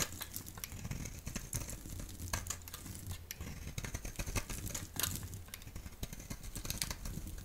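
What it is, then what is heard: Bar soap being shaved with a blade. A solid rectangular yellow Duru soap bar, held in the hand, is shaved into strips with a utility blade. Steady dry scraping and crisp, bright crackling ticks follow one another quickly over a soft low rumble. Each cut is short and dies away at once.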